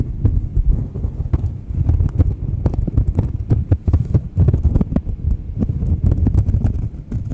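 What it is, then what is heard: Cork coaster scratched and tapped. Long manicured nails scratch and tap the surface of a thin, solid, palm-sized round cork coaster held close to the microphones. The result is a steady, dense stream of soft, dull, low scratching and thudding, with quick bright clicks from the nails scattered throughout.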